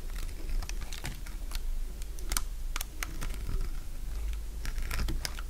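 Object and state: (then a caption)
Dry soap bar. A solid, dry beige soap block held in the fingers is shaved into curls with a metal utility blade. Rapid, short, crisp crunching cuts and scrapes give bright, dry clicks that stop almost instantly, over a steady low hum.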